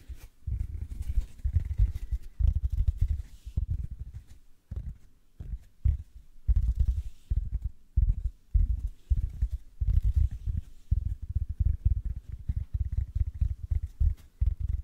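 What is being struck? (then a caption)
Synthetic foam sponge. A large, soft yellow synthetic foam sponge, porous but solid, is held in both hands close to the mic while fingertips and nails squeeze and rub it. The sound is a stream of deep, muffled squishing and scratching bursts, heavy in the low end, with only faint bright texture on top and short pauses between squeezes.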